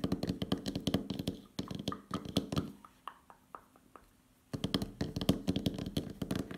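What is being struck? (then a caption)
Plastic makeup palette case. A closed, black, glossy plastic Douglas makeup palette case, oval and about hand-sized, hollow with makeup trays inside, rests on a wooden table and is tapped with the fingernails of both hands. Quick, dry, hollow clicks and taps come in dense runs with a low body around 190 Hz. A sparser stretch of lighter, evenly spaced taps sits in the middle, then a brief near-silence before the busy tapping resumes.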